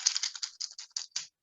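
A dried bean pod is shaken, giving a quick series of dry, papery rattles concentrated in the high frequencies. The rattle shows there are beans inside.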